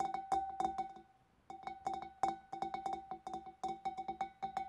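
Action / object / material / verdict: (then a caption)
tap / glass fish bowl / glass / none. Long dark nails tap the rim and neck of a large, clear, empty glass fish bowl in quick, uneven bursts, with a short pause near the first second. Each tap gives a bright glassy click over a steady ringing tone around 780 Hz that fades within about a tenth of a second.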